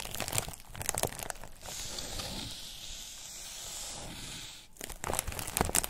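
A thin white textured foam wrap sheet, held in both hands, is pressed, rubbed and crinkled with the thumbs. Dense, crackly crinkling opens the clip. It gives way to a steady, bright rustling hiss for about three seconds, then sharp crinkles return at the end.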